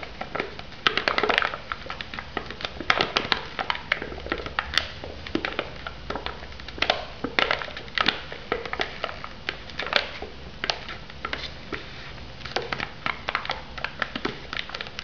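Long nails tap and scratch the paper lid and rim of a hollow white polystyrene instant noodle cup, its plastic wrap removed and lid still sealed. Quick, crisp clicks and dry scraping strokes come in dense irregular bursts, bright and papery with little low end. Each tap dies away almost instantly.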